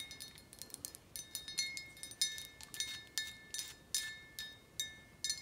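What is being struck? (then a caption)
Thick glass bottle. Long acrylic nails tap and scratch the thick glass of a large, clear, filled Reposado tequila bottle held in the hand. The result is an irregular run of quick, bright clinks, each with a short high ring over soft scratching, with almost nothing in the low end.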